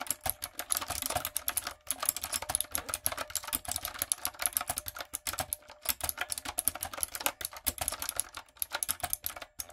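Long coffin nails and fingertips type on a backlit, hollow-bodied plastic typewriter-style mechanical keyboard with round retro plastic keycaps. A steady, rapid stream of bright, sharp clicks and clacks is heard, each stopping almost instantly, with a hollow plastic tone and very little low end.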